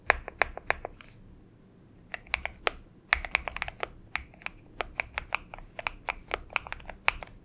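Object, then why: Aluminum mechanical keyboard with plastic keycaps. Both hands type continuously on a purple-backlit Xinmeng M71 70% mechanical keyboard with an aluminum case and PBT keycaps, resting on a desk mat. Short, crisp, bright clacks come in quick bursts of keystrokes with brief pauses between them. Each keystroke dies away almost instantly.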